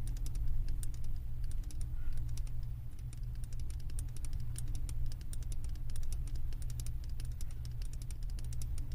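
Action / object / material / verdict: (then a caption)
tap / glass candle jar filled with wax / glass / none. Long acrylic nails tap rapidly on the thick glass base of a wax-filled glass candle jar. The sound is a fast, irregular stream of short, bright clicks that die away almost instantly. A steady low hum runs underneath throughout.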